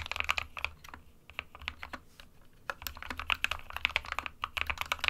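A small 60% white plastic-cased mechanical keyboard with plastic keycaps sits on a desk mat while the fingertips of both hands type on the keys continuously. A steady run of bright, sharp plastic clicks and clacks rises and falls, with short pauses between bursts and no ringing after each keystroke.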